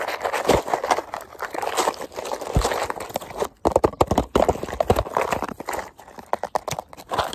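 Fingertips rapidly tap and scratch a small orange and black printed cardboard Paslode box held in the hand, possibly holding nail or fuel packs. Dense, dry, crackly taps and scrapes centered in the mids come in quick irregular bursts with brief pauses, each hit dying away almost instantly.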